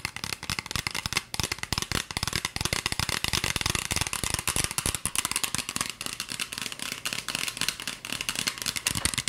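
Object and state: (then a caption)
Plastic spray bottle. A hollow green plastic spray bottle with a white trigger nozzle, partly filled with liquid and held out toward the camera, is tapped rapidly with long fingernails. The result is a fast, continuous stream of bright, dry plastic clicks and rattles with almost no ring.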